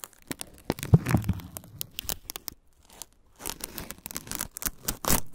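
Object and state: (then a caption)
Corn husk being torn. Fingertips peel and tear the green fibrous husk layers lengthwise from a single whole, solid ear of fresh corn held in hand. Dry, crackling rips and crinkles come in quick bursts, with a brief quiet pause in the middle before a denser run of tearing. The layers pull away in sharp, bright snaps over a low, papery rustle.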